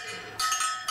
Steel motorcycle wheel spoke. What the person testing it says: they'll have like a high ring to them there's anything that sounds dull you may have a loose spoke